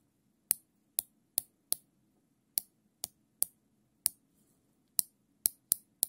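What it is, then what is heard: Nylon zip tie ratcheting. Gloved fingers ratchet the tail of a looped, thin black nylon zip tie through its locking head. Twelve sharp, bright clicks come in an uneven rhythm, each dying away almost instantly over a faint low hum.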